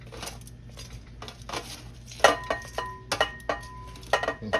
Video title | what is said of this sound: OLD SCHOOL SPICY 🌶 BUFFALO FRIED SHRIMP 🍤/T.G.I.F FISH SEGMENT OF THE WEEK | hear how crispy that shrimp is, y'all. Hear how crispy that shrimp is.